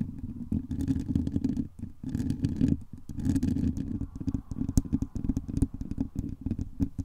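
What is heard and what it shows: Long acrylic nails scratch and tap across a hollow metal mesh microphone dome, then fingertips tap its top toward the end. The result is dense, close, muffled scraping and rapid tapping, heavy in the low end with a steady low rumble. Sharp taps cut through in bursts that pause briefly around the two- and three-second marks.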